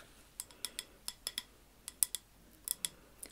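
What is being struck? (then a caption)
Wax-filled glass candle jar. Long acrylic nails tap a large, labeled amber glass candle jar filled with wax while it is held up. About 13 quiet, sharp, bright clicks sound in an irregular rhythm, each dying out almost instantly with no ringing tone.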